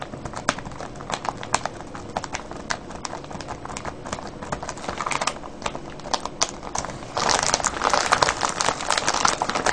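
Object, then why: Cellophane bag of foil-wrapped candies. Fingers squeeze and crinkle a clear cellophane bag full of foil-wrapped candies. Sharp, irregular crackles and snaps sound over a steady rustle. At about seven seconds the crinkling turns louder and denser, with bright crackling through to the end.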